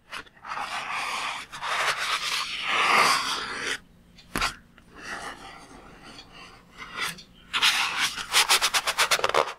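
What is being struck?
Water-filled latex balloon.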